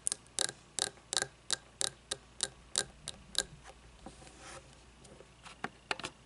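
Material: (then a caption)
Glass. Fingernails tap a frosted glass candle jar with wax inside, resting on a wooden table, giving a steady run of sharp, bright clicks that die away almost instantly. Midway the taps pause for a stretch of soft, faint rustling, then a few more crisp clicks follow at the end.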